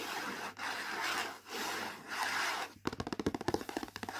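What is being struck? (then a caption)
Printed cardboard food box. Fingertips and nails rub across the printed surface of a latkes mix cardboard box lying flat, making four long, soft, hissing strokes. A quick run of short, bright scratches follows, each a dry, papery tick with almost no ring.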